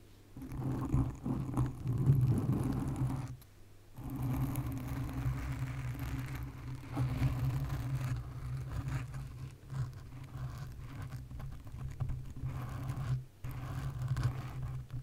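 Long acrylic nails scratch and tap a soft, porous black foam windscreen fitted over a large condenser microphone. The result is a dense, low, muffled rustling and patter that stays mostly below 200 Hz, with brief silent breaks near 3.5 and 13.5 seconds.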